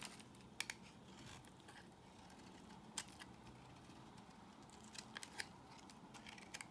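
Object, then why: Bar of soap shaved with a blade. A solid peach-colored bar of soap held in the hand is shaved with a box cutter blade. Quiet, steady scraping runs throughout, broken by sharp, bright clicks and crackles as the blade bites into the soap.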